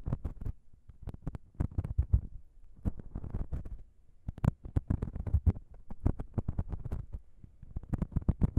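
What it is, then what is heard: Metal microphone capsules tapped and scratched with fingernails. Long pink nails on both hands tap and scratch across the top of the small, hollow, chrome metal XY microphone capsules of a Zoom H6 recorder. It produces quick, dense bursts of dull, boomy taps with soft scratchy rustling between them. The sound is heavy in the low end, with a brief lull around the middle before the tapping picks up again.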